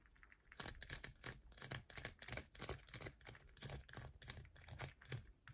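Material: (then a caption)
Soap. A solid yellow bar of soap is held in the palm while long nails scratch and scrape its face, leaving loose shavings on a mat. The result is a fast, irregular run of dry, bright scratches and soft taps, each with a low thump and a crisp high hiss that dies away at once.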